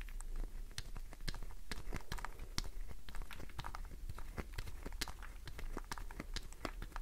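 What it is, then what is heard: Glycerin soap bar scratched and tapped. Long nails scratch and tap the face and edges of a solid green glycerin soap bar held in the hand. The result is a fast, continuous run of short, dry clicks and scratchy crackles with sharp, bright tops. A steady low rumble sits underneath.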